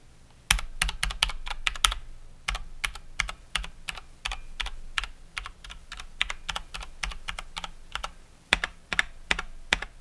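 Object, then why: Mechanical keyboard with plastic keycaps. Someone types with both hands on a COX Dauntless mechanical keyboard with Cherry MX Brown switches and plastic keycaps, then presses single keys and the spacebar with one finger. Sharp, bright plastic clicks and clacks come in quick, irregular bursts over a faint low hum.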